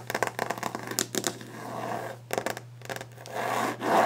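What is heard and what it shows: Long painted nails tap fast and hard on a solid varnished wooden desk top, making bursts of sharp, dry clicks, then scratch across the surface in slower rasping strokes. A steady low hum runs underneath throughout.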